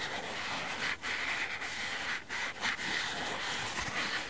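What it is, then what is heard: Dry foam sponge being rubbed. Fingertips rub a palm-sized, oval, dry, solid synthetic foam sponge, starting on its printed side and flipping to its yellow porous side partway through. The sound is a steady, bright, scratchy hiss concentrated around 2 kHz, with brief drops near 1 and 2.3 seconds.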